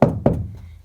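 Two knocks on a wooden room ceiling, checked before installing a roll screen to tell whether it is wood or gypsum board. Each gives a dull, low thunk that fades quickly, and the ceiling proves to be wood, so the bracket is fixed with wood screws.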